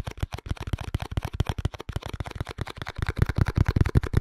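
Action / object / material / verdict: tap / small cardboard box / cardboard / none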